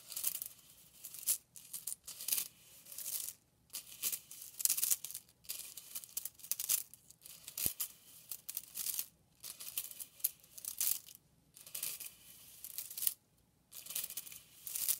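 A bundle of purple and pink hollow plastic drinking straws is pressed and rubbed together by hand. This gives rapid, bright, crunchy clacks in short bursts separated by brief pauses, with almost no low end.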